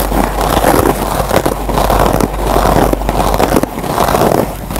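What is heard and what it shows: A dry yellow foam kitchen sponge with a green nylon scouring pad is scratched with fingernails, then its fibers are picked and scratched with a metal-tipped pen. The result is a steady, dense, scratchy crackle centered in the midrange, rising and falling in rhythmic swells about every second.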